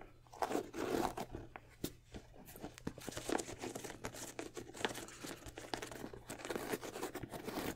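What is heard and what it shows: Fingertips and nails tap and scratch the smooth leather upper of a white and red high-top sneaker with a rubber sole, held hollow and empty in the hands. Soft, quick taps mix with dry, crinkly scratching that swells and fades across the clip, with short bursts of brighter rasping between quieter stretches.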